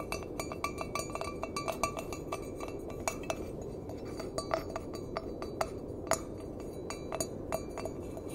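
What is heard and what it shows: Fingertips and nails tap the side of an empty stainless steel mug with a handle. Irregular, brief metallic clinks ring around 650 Hz with bright overtones above a steady hiss.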